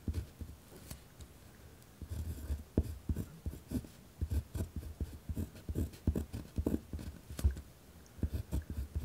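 A pen tip scratches steadily across a white lined paper pad resting on a wooden desk, written with a rough, hard stroke. It produces a series of short, dull, low-heavy scratching bursts with brief pauses between strokes.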